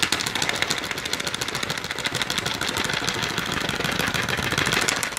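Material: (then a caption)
Plastic. Long nails rapidly tap and scratch the clear plastic blister front of a full AA alkaline battery pack held in both hands. The result is a dense, continuous stream of bright, crisp plastic clicks and scratchy rasps with almost no low end.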